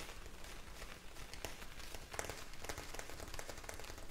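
A clear plastic bag filled with blue gel beads is held close and tapped and scratched with long nails. It makes a soft, continuous rain-like patter of quick, bright clicks and rustles over a steady low rumble.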